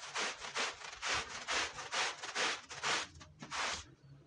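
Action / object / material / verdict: scrape / wool woven rug scrubbed with a push brush / wool / none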